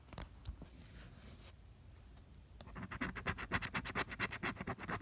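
A flat cardstock scratch-off lottery ticket, no. 047, is held by the fingertips while its coating is scratched with a pink plastic scraper. A few bright, hissy scrapes open the clip, then a quieter pause. From near the three-second mark come rapid, fairly regular back-and-forth scratching strokes with a dry, papery rasp.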